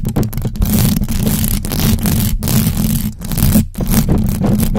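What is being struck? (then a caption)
Metal mesh microphone grille. Long acrylic nails on both hands scratch fast over the hollow metal mesh grille of a large black USB microphone. The result is a dense, continuous rasping scrape with a heavy low rumble and a brief dip in the scratching near the end.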